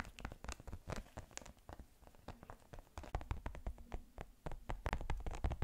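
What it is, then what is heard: Plastic watermelon-slice case. A small, flat case shaped like a watermelon slice, made of pink and green plastic or silicone, is tapped and scratched with long pink nails. Quick, irregular, dry clicks and brief scratches come in dense clusters, with almost no ring after each tap.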